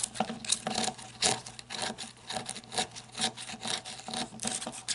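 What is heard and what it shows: Long red nails scratch the ribbed grip and tail ridges of a black matte flashlight, plastic or coated metal, as it is held tilted and then stood upright. The result is quick, irregular bursts of bright, dry rasping with short swells and almost no ring or low end.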